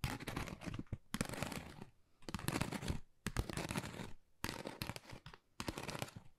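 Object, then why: Textured cardboard envelope. Long nails tap fast on a flat pink textured cardboard Dior gift envelope held upright. Rapid, dry, scratchy tapping comes in several dense bursts separated by short pauses, with a papery crackle that reaches high into the bright range over a soft low thump.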